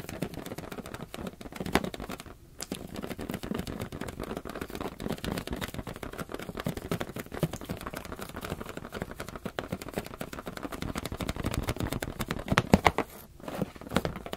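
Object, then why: Rubber balloon. Fingers tap rapidly and steadily on a rubber balloon, making dense, soft, low-pitched patters with almost no ring. The tapping runs nearly continuously, with brief pauses around 2.5 and 13.3 seconds.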